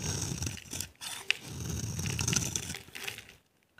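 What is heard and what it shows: A utility knife blade scrapes and carves a dry, rectangular, solid green bar of soap held in one hand with long red nails, shaving off dry flakes. The result is a continuous rough, scratchy rasp with a low rumble and a bright hiss, a brief pause near one second and a sharp click just after. The scraping stops in near silence at the end, followed by a faint final tick.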